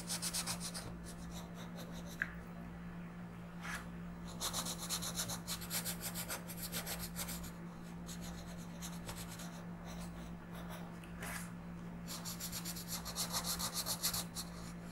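A blue colored pencil is rubbed in quick shading strokes across a flat paper coloring book page. Bursts of bright, scratchy rasping come and go in clusters over a steady low hum, with a few short sharper scrapes in between.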